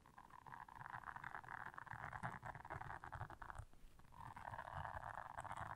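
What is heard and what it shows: Long nails scratch and press the bristles of a blue silicone bristle scrubber pad, making a steady, dense scratching rustle concentrated in the mid range with soft low thumps underneath. The scratching briefly thins out near the four-second mark, then returns just as strongly until the end.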